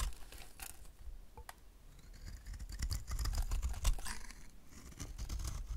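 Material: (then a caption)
Soap. A utility knife blade scrapes crumbly curls off the surface of a dry, solid rectangular white bar of soap held in hand. Quick, uneven scraping strokes come about four per second, giving short dry crackles and bright scratchy streaks over a low rumble. The sound swells in the middle and then eases off slightly.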